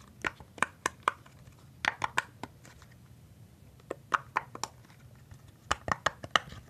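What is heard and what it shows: Fingertips press and pop the hollow bubbles of a thin, hand-sized rainbow silicone pop-it fidget toy. Sixteen short, dry pops with a mid pitch around 1.2 kHz come in quick clusters of about four, separated by brief pauses over a quiet background.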